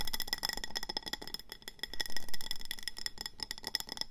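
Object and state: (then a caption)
Glazed ceramic plant pot. Long manicured nails of both hands tap and scratch the sides of a medium round glazed ceramic planter with a speckled grey-green body and an orange glazed rim, filled with pebbles and a succulent and resting on a table. Quick, dense clicks and scratches carry bright, ringing tones that die away almost at once, with a couple of fuller, louder strokes near the middle.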